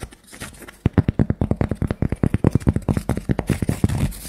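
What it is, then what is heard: Cork coaster. Long nails tap and scratch the face of a thick, round, solid cork coaster disc held in the hand. A soft scratchy rustle gives way to a quick run of around thirty dull, dry, low taps with almost no ring, ending in a brighter scratching hiss.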